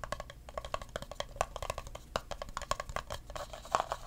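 Fingertips tap and scratch the sides of an empty clear plastic cup. A quick run of light, hollow taps with a pitched ring around 1.1 kHz dies away almost instantly, with soft scratching between them.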